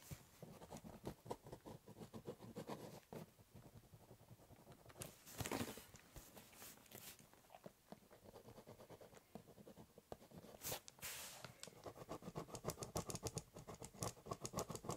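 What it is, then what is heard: Pen scratching on a cardboard box. The tip of a ballpoint pen is drawn across a large, hollow, brown corrugated cardboard box while writing letters. It makes quick, irregular scratchy strokes with a hollow, low body. A few longer, brighter swipes stand out among the steady scribbling.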